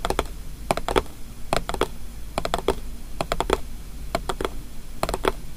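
Long painted nails tap and scratch the closed lid of a small square white paperboard gift box with blue polka dots and a green label, lying on a table. Quick clusters of dry, hollow clicks with a low-mid tone stop almost instantly. Faint scratching and a low background hum fill the gaps between them.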